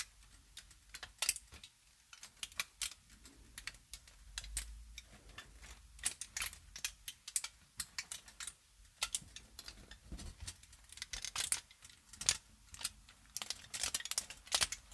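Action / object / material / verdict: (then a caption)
scrape / crumpled aluminium foil sheet / aluminium foil / none. A folded and crumpled aluminium foil sheet is held in both hands and crinkled and squeezed with fingertips and long nails. The result is a quiet, continuous run of sharp, bright crackles and snaps with very little low end, each one dying away almost instantly.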